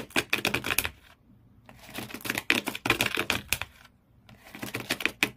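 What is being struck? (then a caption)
Empty corrugated cardboard shoe box. Fingernails and then thumbnails scratch the corrugated cardboard floor inside an empty shoe box. Quick, bright, dry scratches and clicks come in three rapid bursts, with short quiet pauses between them and almost no low end.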